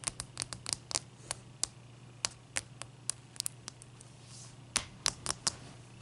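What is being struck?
Large ice cube.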